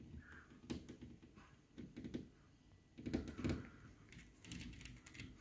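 Fingertips and nails tap and scratch along the raised ridges of a shiny, ribbed, thin-sheet corrugated aluminium decorative panel on a wall. The result is a quiet run of soft, dull taps with a brief metallic ring, mixed with light scraping between them.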